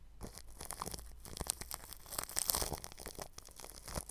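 A bristle paintbrush rubs over clear plastic cling film stretched across a round microphone grille. The result is a close, crackling, crinkly rustle of dense scratchy strokes with bright, high sparkle and a soft low rumble underneath.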